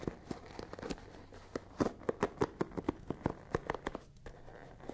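Long nails scratch across the dense wooden pins of a hand-sized wooden paddle hairbrush with a dark cushion, held close to the mic. The result is a quick, uneven series of short, dry clicks and crackles with a woody tone around 470 Hz, each dying away almost instantly over a soft, steady background.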